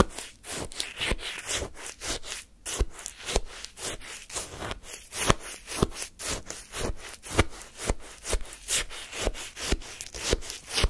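A wooden spoon repeatedly scrapes granular, pale frozen lemon shaved-ice sorbet in a paper cup. There are about 19 short, crunchy, bright scraping strokes, roughly two per second at an uneven pace. Each stroke is dry and quick with no ring.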